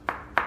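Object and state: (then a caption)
Solid ceramic floor tile. Two separate taps on a ceramic kitchen floor tile laid on a concrete slab, tapped as a solid reference before a hollow tile. Each tap is a short, sharp midrange click centered near 950 Hz that dies away quickly, consistent with a solid tile.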